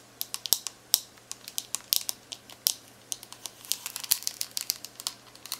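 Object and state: Plastic calculator keys tapped.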